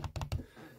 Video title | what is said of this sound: Asus Chakram Core Mouse: Final Thoughts | this rattle when you tap the rear shell that comes from this type of one magnet and then one plastic clip construction